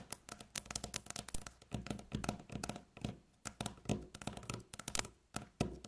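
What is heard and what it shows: Long natural fingernails tap fast in rolling patterns on a solid, light-colored flat wooden tabletop. Quick bursts of dry, clicky taps with low woody knocks and bright nail clicks die away almost instantly, separated by brief pauses.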